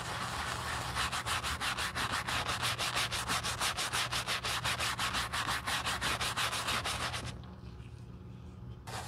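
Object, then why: Leather shoe scrubbed with a bristle brush. The side of a black leather Gucci shoe, resting on a towel, is foam-scrubbed with a wooden-handled horsehair brush. Around thirty quick, bright, evenly paced back-and-forth strokes give a steady raspy bristle scrubbing. The brushing then drops to a softer, quieter rub before one last bright stroke at the end.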